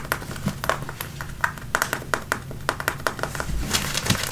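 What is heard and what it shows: Fingertips and nails scratch the waistband and front of worn light-blue, high-waisted, button-fly denim jeans. A quick, uneven run of short, dry, raspy scrapes sounds, each bright and crisp with a papery edge around 1.5 kHz. The scrapes stop at once with no ring, over a faint low rumble.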